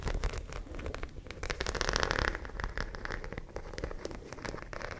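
A white studded zippered fabric pouch is held beside the mic while long nails scratch and tap its studs. The result is a dense, close run of quick clicks and scratchy crackles, with a fuller rasping swell around the middle.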